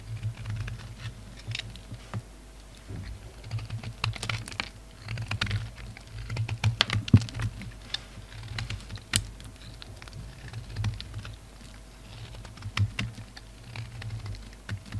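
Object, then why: Solid bar of soap. A black and white solid bar of soap, held in the hand, is carved with a utility knife blade in quiet, irregular cutting and scraping strokes. Short, dry, crisp ticks and soft scratchy patter come and go over a steady low hum, with brief bright clicks standing out now and then.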